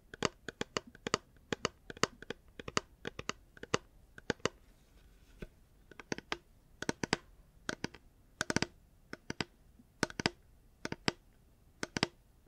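Fingers tap a reusable hard plastic water bottle in quick, irregular clusters of dozens of taps. Each tap is a short, dry, bright click with almost no ring, heard against a quiet background.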